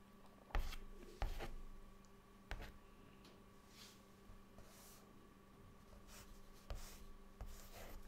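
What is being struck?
Chalk stick on a chalkboard.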